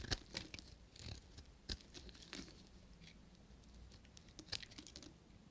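A short metal knife shaves curling flakes off a solid, pale green dry bar of soap with a cavity, held in the fingers. The clip is a quiet series of crisp, dry scrapes and crunchy crackles, with bright edges over a soft low rumble. Each scrape ends abruptly with no ring.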